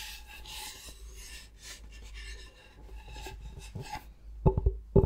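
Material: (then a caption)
Bamboo. Short-nailed fingertips scratch the face of a thin, solid, flat rectangular bamboo cutting board held upright in front of the mic, making a soft, bright, raspy scraping for about four seconds. The scratching then gives way to a few louder, sharp, dull taps on the board near the end.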